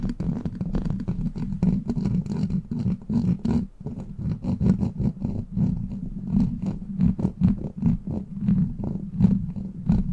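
Long black plastic claw nails grip and scratch a hollow steel mesh microphone grille. The result is a dense, continuous run of rough scratching bursts over a heavy low rumble with a steady low tone, while brighter crackles flick up above it.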